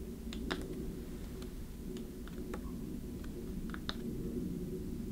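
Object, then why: Small wooden chest box with metal clasps. A small hollow wooden treasure-chest box with metal clasps and a handle is held in both hands and tapped and scratched with long nails. Sharp, bright clicks stand out over a low, steady hum, and the lid is opened at the end.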